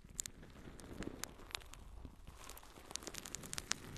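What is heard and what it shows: A yellow, porous natural sea sponge is held in both hands and scratched with long nails. The result is quiet, dry, scratchy crackling and crinkling, with sharp, bright clicks scattered irregularly over a soft rustling bed.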